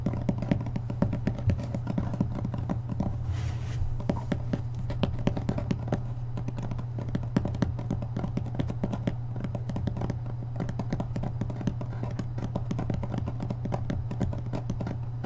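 Fingers tap and scratch rapidly along the spine and page edges of a thick hardcover book held upright, making a dense stream of short, dull clicks and soft scraping over a steady low hum. The hits blur together too closely to count.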